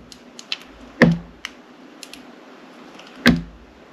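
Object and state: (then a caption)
Glycerin soap bar. A metal utility knife slices a solid, hand-sized, glossy black glycerin soap bar with glitter, shaped like a bunny head, and the slices fall onto the table. Light, crisp ticks and taps are scattered among two heavier, low thunks with a brief dull resonance, all over a quiet background.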